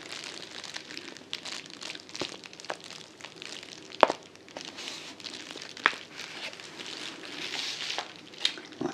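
A medium yellow kraft-paper padded envelope that appears filled is held up in both hands and squeezed and crinkled with the fingertips, then lowered toward the table at the end. It makes a steady, bright, dry crinkling and rustling with almost no low end. A few sharper, louder crackles pop out near 4, 6 and 8.5 seconds.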